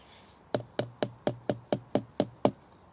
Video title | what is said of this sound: Primitive tinder episode 3: fatwood | it's quite sort of dull which would suggest it's hollow and not very dense